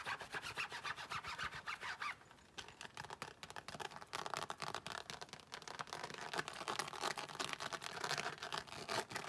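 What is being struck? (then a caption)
Embossed faux leather wallet. Long nails rapidly tap and scratch the face and edge of a closed, thin, flat, glossy pink croc-embossed faux leather wallet. The result is a steady stream of crisp, bright, dry scratches and clicks with almost no low end, briefly quieter around the two-second mark before picking back up.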